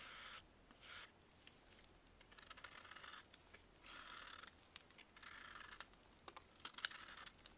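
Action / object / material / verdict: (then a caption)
scrape / baking soda block carved with a metal blade / baking soda / none. A small, solid block of dried baking soda, held in a gloved hand, is carved with a metal blade. It makes bursts of bright, dry scraping and crunching with short crackly ticks between them. The sound is quiet and thin, with almost no low end.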